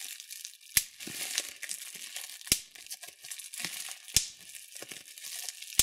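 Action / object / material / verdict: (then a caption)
tap / plastic bubble wrap / plastic / none. Thumbs press into clear plastic bubble wrap with intact bubbles, popping them one after another. Four sharp, bright pops stand out over a steady, hissy crinkling of the plastic between them.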